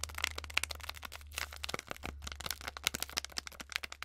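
Long acrylic nails rapidly tap and scratch a small, flat, sealed Twinings tea packet, a foil-lined paper sachet holding a tea bag. The result is a dense run of sharp, bright clicks and crisp, papery crinkling scratches over a steady low hum.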